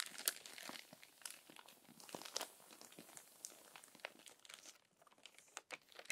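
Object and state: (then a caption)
Crumpled paper magazine pages. Long nails and fingertips smooth and scratch lightly across crumpled paper magazine pages, with a page turn. The sound is quiet, dense, bright crinkling made of many short, sharp crackles with almost no low end.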